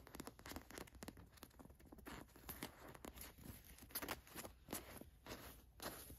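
Long nails scratch the gold watch print on a black cotton t-shirt, then a hand rubs the plain fabric. The result is a quiet, dry run of quick, rough scratching strokes with a bright, papery texture and no ring between them.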